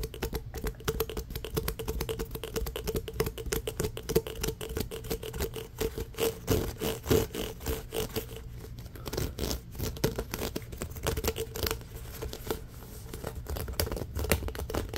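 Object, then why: Ribbed plastic pop tube. A hollow pink ribbed, corrugated plastic pop tube, held in both hands over a fabric blanket, is scratched quickly along its ridges with fingernails. The result is a dense, continuous run of fast, crisp scratching clicks with a steady raspy tone from the ridges and some soft low rumble underneath. The level stays fairly even across the clip.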